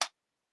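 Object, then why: Espresso machine panel, plastic. A single short tap on the plastic panel of a Meraki espresso machine, the section carrying the tag rather than the aluminum tower. It gives a dry, bright click with no low end that dies away within about a tenth of a second, leaving silence.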